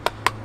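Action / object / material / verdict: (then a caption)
knock / plastic housing of a small electronic device / plastic / hollow. Three quick knocks on the soft matte plastic housing of a GOSPACE SuperCloud wireless storage device give short, dry taps centered around 1 kHz that die away almost at once. The housing sounds hollow inside, and the plastic is judged cheap and substandard for the price.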